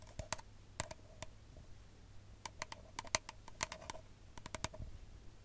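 An empty, hollow brown paper espresso cup is tapped and scratched with long nails close to the mic. About 17 sharp, irregular clicking taps ring briefly with a hollow tone near 640 Hz and bright crackly edges. A steady low hum runs underneath.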